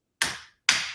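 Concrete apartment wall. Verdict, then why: Solid. A hand slaps a concrete apartment wall twice, each slap a sharp, bright crack with a brief decay. The wall sounds solid.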